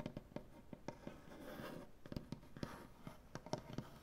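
Dark painted nails on both hands tap and scratch across a large, solid wooden butcher-block tabletop. Quiet, dull, low-heavy knocks die away almost instantly, broken by softer rough scraping swells in between.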